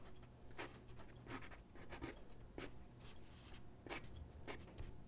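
A graphite pencil sketches on a single white sheet of drawing paper resting on a wooden desk. It makes quiet, irregular scratching strokes with bright, brief rasps over a low, steady background hum.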